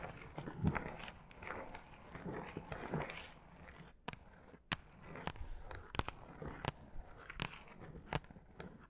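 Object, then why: Shaggy faux fur rug. Long acrylic nails scratch across the long, shaggy pile of a pink faux fur rug, with the fingertips digging into the fibers. Quiet, dense rustling and scraping is broken by short, sharp clicks and crackles.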